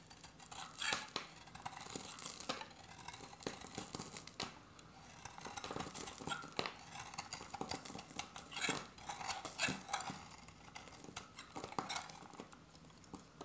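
A hand-sized, oval, dry solid soap bar with a copper glitter surface and a beige interior is held in the hand and shaved with a metal utility-knife blade. It gives a run of dry, crisp scraping cuts with a bright, gritty rasp. Each stroke swells and fades quickly, with short pauses between bursts.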